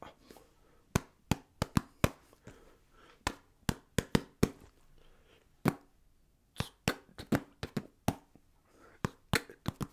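A small orange basketball-patterned foam stress ball is held in one hand and tapped and scratched with the fingertips and nails of the other hand. It makes 22 short, dry, muffled taps in an irregular rhythm, with faint scratching texture between them.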